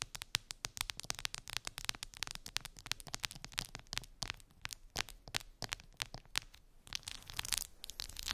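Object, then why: Clear plastic phone case covered in resin gummy-bear charms. Long pink acrylic nails scratch and tap over the bumpy, colorful resin gummy bears covering a clear plastic phone case lying on fluffy fabric. A dense, rapid stream of bright, dry clicks and scratchy crackles is heard, each sound sharp and short with no ring.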